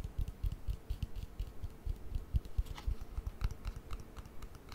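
Long painted nails tap rapidly on a small, hollow, white hard plastic cream jar with its lid on, held in the hand. About twenty-two quick, dull, low taps each carry a faint bright click and stop dead with no ring.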